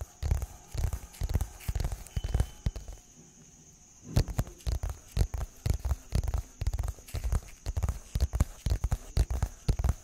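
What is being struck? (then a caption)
Small cardboard box. Fingertips tap and scratch the faces of a small, hollow, printed brown-and-white cardboard product box with a label, held in both hands close to the microphone. About 33 short, dull, low-pitched thumps come in an uneven rhythm with faint scratchy rustle between them. There's a brief quiet pause after the first few seconds before the tapping resumes.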